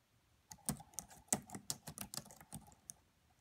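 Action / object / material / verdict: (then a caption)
tap / laptop keyboard with plastic keys / plastic / none. Fingertips with long nails type on the black plastic keys of a red laptop. Eleven quiet, irregularly spaced key taps give short, bright clicks with a light low thump, each dying away almost instantly.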